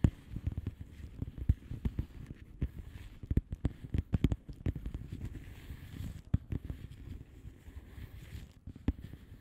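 Long nails tap across the bubble surface of a flat blue plastic bubble wrap envelope. The taps are soft, dull and low, each dying away almost at once, in an uneven stream with a few louder ones standing out over a quiet, muffled rustle.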